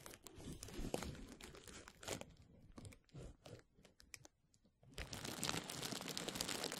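Rolled clear plastic bubble wrap is held over the mic and rubbed and scratched by fingertips, giving dense, bright crinkling and crackling in short uneven bursts. The crackle thins to a near-quiet pause a little past the four-second mark, then returns as steady, louder crinkling to the end.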